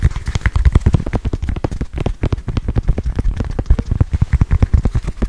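A small, solid, squishy red foam stress ball with black soccer-ball patches is held in one hand and quickly tapped and scratched with long white nails. The result is a fast, steady patter of dull, deep, soft thuds with very short decay and faint scratchy texture between them, much like rain on a surface.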